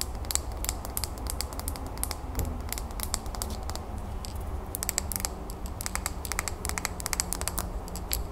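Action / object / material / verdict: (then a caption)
tap / small glass bowl planter with soil and pebbles / glass / none. Long natural nails quickly tap and scratch the sides of a small clear glass bowl planter, filled with soil, pebbles and a succulent and held in the hands. The result is a dense run of sharp, bright clicks with short scratchy passages over a steady low hum.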